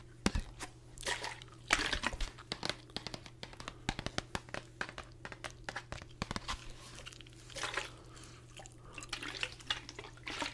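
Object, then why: Plastic squeeze bottle with liquid. A green plastic Gatorade squeeze bottle with an orange cap, hollow and partly filled with liquid, is gripped with both hands and squeezed and shaken close to the microphone. Sharp, bright plastic crinkles and clicks come in quick bursts over sloshing liquid, with a steady low hum underneath.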